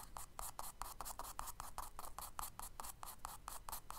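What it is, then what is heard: Charcoal strokes on kraft paper. A charcoal stick held in the fingers draws and scratches quick strokes across the solid tan kraft paper page of a spiral sketchbook lying flat on a dark table. Each stroke is a short, dry, scratchy rasp with a bright hiss and a mid-range tone near 860 Hz. The strokes repeat at a quick, uneven pace over a quiet low rumble.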